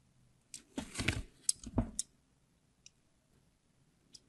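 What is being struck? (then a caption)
Glycerin soap bar. A translucent red, solid, palm-sized glycerin soap bar is held in one hand while the tip of a craft knife blade scores shallow lines across its surface. Short scratchy scraping strokes with bright, crisp ticks and a soft low body cluster in the first two seconds. A few faint isolated scratches follow in near silence.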